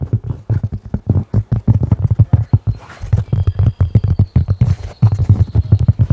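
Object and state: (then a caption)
Cork tapping. A cork object is tapped in dense, rapid, clip-clop-like rhythms, producing dull, low-pitched knocks centered around 100 Hz. Each tap dies away almost immediately, and faint thin high tones come through in the background midway through.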